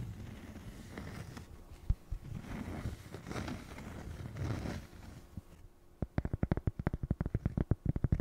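A small, flat, solid square cork coaster is held in the hand and scratched with long fingernails, giving soft, low, breathy scraping strokes for about five seconds. The fingernails then switch to quick, dry tapping: a rapid run of short, dull knocks that die away almost instantly.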